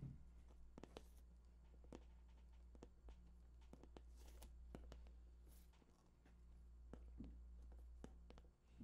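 Fingertips tap the top surface of a hollow, glossy cardboard PS4 box. The result is a quiet series of short, dull taps over a low steady hum.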